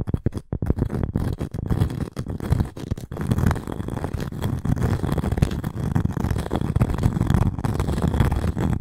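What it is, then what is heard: Cork and wood coaster. Long nails scratch across the textured face of a round, flat, solid cork coaster with a wooden rim. The result is a dense, low, rustling scrape made of many quick strokes. It starts choppy and gappy, then settles into a steady, continuous scratching with almost no brightness.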